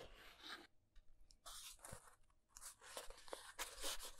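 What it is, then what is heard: Cardboard box scratched with nails. Fingernails scratch along the corner and edges of a small brown cardboard box, giving dry, crinkly bursts of scratching separated by short quiet gaps. The box is then held in both hands.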